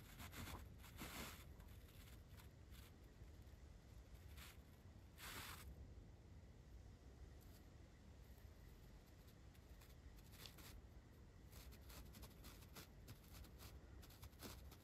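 The bristles of a large paintbrush are brushed across a soft, porous, dark green foam windscreen on a Blue Yeti mic. The result is a steady, quiet, low-heavy rustle with repeated brighter scratchy swishes from each stroke.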